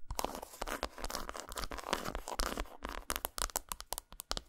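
Long nails rapidly tap and scratch a solid segmented dark chocolate bar lying flat on a towel. The result is a fast run of sharp, dry clicks mixed with brittle, crunchy scraping and crinkling, with bright high-frequency detail.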